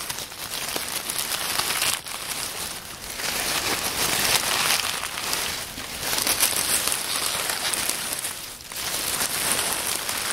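Hands squeeze a pile of dry, crisp oak leaves on a wooden table and rustle them between the fingers. A dense, bright crinkling and crackling rustle runs steadily throughout, with almost no low end, easing briefly in a few short dips before swelling again.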